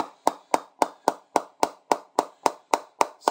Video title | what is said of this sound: GM Diamond 808 Cricket Bat Review | it's not really soft down at the toe. They do a really good press down at the toe.